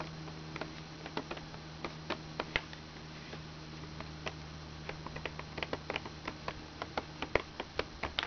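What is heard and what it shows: Long red-painted nails tap the plastic keys of a small, hollow plastic children's toy laptop with a blue key panel, held open on a blanket. About 26 short, sharp, dry clicks with almost no ring come at an uneven pace, sparse at first and quicker toward the end. A steady low hum sits underneath.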